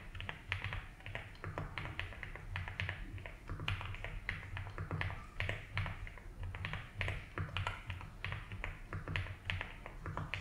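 A compact blue and white Rainy75 mechanical keyboard with doubleshot ABS keycaps on a polycarbonate plate, resting on a felt desk mat, is typed on with the fingertips of both hands. A steady stream of fast, repeated key taps produces short, crisp clacks with a bright edge. A constant low hum sits underneath.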